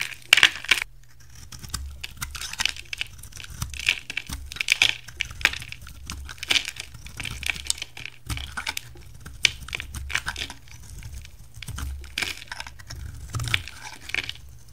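A hand-sized, solid purple oval bar of soap is shaved with a utility knife, and pink-purple curls peel off. Short, bright scraping and crinkling strokes repeat in irregular bursts over a low steady hum.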